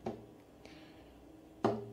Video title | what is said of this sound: Music of the day: Cello introduction + Kill this love cello cover #BLACKPINK #cello #killthislove | You can hear it's hollow. It makes the sound more vibrant and sound better.